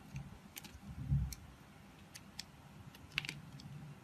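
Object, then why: Glycerin soap bar cut with a knife blade. A utility knife blade scrapes and cuts into the surface of a palm-sized, solid, translucent blue glycerin soap bar held in the hand. Short, dry, bright clicks and ticks stand out over a soft low rumble, each cut stopping almost instantly with no ring.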